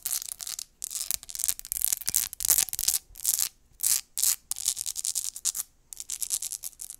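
Long acrylic nails scratch fast and hard along the ridges of a small, clear, ribbed glass jar or holder that is hollow and empty. The result is bursts of bright, high, rasping scratches with almost no low end, separated by brief silences.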